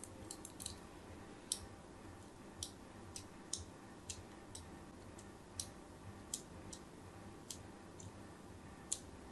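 A thin metal blade scores straight lines across the surface of a solid white soap bar held in the hand. Sixteen short, crisp, bright scraping clicks are spread unevenly over a quiet, steady low background hiss.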